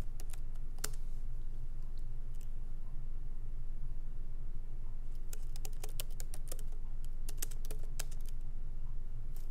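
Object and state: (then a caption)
Laptop keyboard with plastic keys. Both hands type with their fingertips on a MacBook Pro keyboard with low-profile plastic keys set in a solid aluminum body. Slow, uneven key taps and clicks ring out brightly over a steady low hum, with a denser run of taps in the second half.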